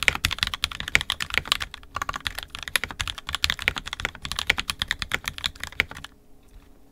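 An NK65 Entry Edition 65% mechanical keyboard, with a purple plastic case, red and black plastic keycaps, and lubed and filmed 67g Tangies switches, is typed on steadily with the fingertips of both hands. About 45 short, bright, clacky keystrokes follow one another with almost no ring. The typing stops near the end, leaving a brief quiet gap before one last keystroke.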